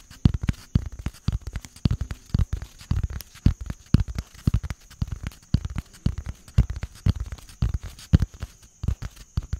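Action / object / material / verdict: tap / small cardboard box / cardboard / none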